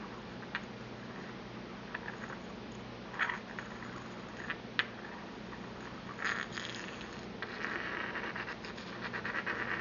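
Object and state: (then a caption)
Empty porcelain mortar and pestle. A porcelain pestle taps and scrapes inside a small, empty white porcelain mortar held in hand. Scattered light, bright clicks with a short ring near 1.7 kHz come at irregular intervals, then give way to a longer, gritty scraping toward the end over a faint steady low hum.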